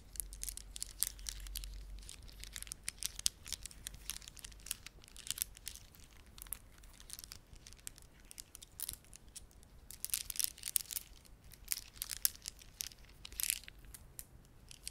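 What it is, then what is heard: Plastic beaded ornament. A plastic beaded ornament cupped in the hands is squeezed and rubbed by fingertips, making dense crinkly clicks. The sharp ticks are bright and high, with denser bursts around the middle and the end. A low hum sits underneath during the first two seconds.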